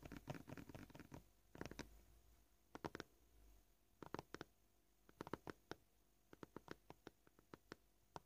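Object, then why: Plastic cutting board. Short polished fingernails tap and lightly scratch a flat, solid white plastic cutting board. They make quick, dry clicks with almost no ring. The clicks come at a varying pace, some bunched into rapid bursts and others spaced apart, with a soft scratchy patter in the early part.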